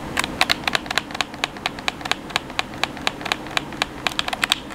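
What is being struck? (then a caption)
Plastic game controller. A black hollow plastic gamepad is held in both hands while fingertips repeatedly tap and press its face buttons and thumbsticks. About 29 quick, sharp, bright plastic clicks come in an irregular stream with almost no ring, over a faint, steady background hiss.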